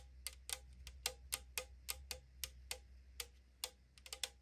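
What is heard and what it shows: Long nails tap quickly on the side wall of a tall 500 ml aluminum drink can lying on a wooden table, producing about 15 short, bright, hollow clicks of thin metal. Each tap dies away almost instantly over a steady low hum.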